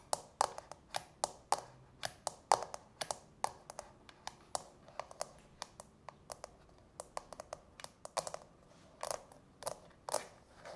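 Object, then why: Frosted plastic nail-soak bowl. Long natural fingernails tap on the domed inner insert of a small, hollow, empty, frosted translucent plastic manicure soak bowl, then fingertips dip into the bowl. The result is a quiet, irregular run of sharp, dry, hollow clicks with a midrange tone and bright edges that die away almost instantly. Toward the end come a few softer, fuller taps.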